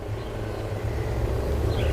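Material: Nothing is struck.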